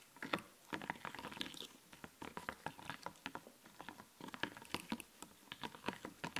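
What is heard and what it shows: Fingertips and nails tap and scratch a flat sheet of raised, glittery, puffy plastic fashion stickers on a clear backing. It makes a quick, irregular patter of short, dry plastic clicks mixed with bright, scratchy rustles. Each tap stops almost instantly, and the level stays fairly quiet throughout.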